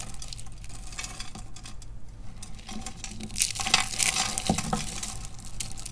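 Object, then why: Soap flakes. Fingers with glittery nails pick up thin, brittle purple and black dry soap shavings from a pile and crush them between the fingertips. A steady, dense crackle of small dry crunches runs throughout, growing louder and brighter in the middle as the flakes break apart.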